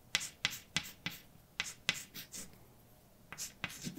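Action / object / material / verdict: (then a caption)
scrape / chalk on a slate blackboard / chalk / none. A hand writes letters on a large, dark, flat chalkboard with white chalk. Eleven sharp, bright taps come at an irregular pace, each followed by a short, high, scratchy scrape, with a quiet pause in the middle before the strokes resume.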